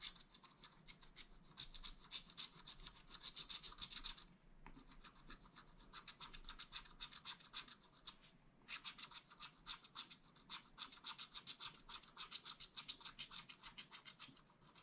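A wooden stylus scratches the mug fill on a black coated scratch art paper page in dense back-and-forth strokes. The result is a bright, rapid, rasping scratch that runs steadily with two brief pauses, around 4.5 and 8.3 seconds.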